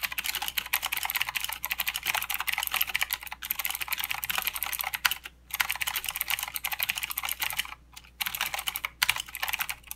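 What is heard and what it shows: Both hands type continuously with their fingertips on a full-size mechanical keyboard with plastic keycaps and blue clicky switches. The sound is a rapid, bright stream of sharp clicks and clacks, with brief pauses around the middle and near the end.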